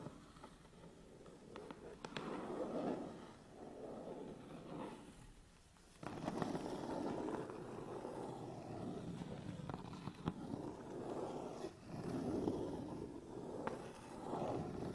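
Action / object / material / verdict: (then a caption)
scrape / cardboard camera box / cardboard / none. Fingertips and short nails scratch and tap the front face of a medium, closed, hollow Canon EOS 250D cardboard box held upright on a table. Dry, crackly scratching swells and fades in waves, broken by occasional sharp taps that give a brief hollow knock. The sound stays soft and mostly low-to-mid, with little high brightness.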